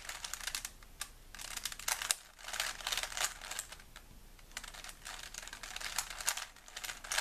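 A small solid plastic 3x3 Rubik's cube is held in both hands while the fingertips rapidly twist its layers. Bursts of quick, bright plastic clicking and rubbing come in with short quieter gaps between them. The sound is crisp and high with almost no low end.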